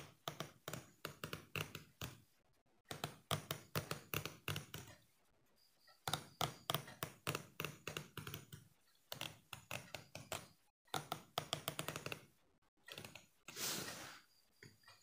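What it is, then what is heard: Plastic comb. A thumbnail flicks along the teeth of a small, solid yellow plastic hair comb held in both hands. It makes rapid runs of dry, bright ticking clicks separated by short pauses, with a softer, brushing swell near the end.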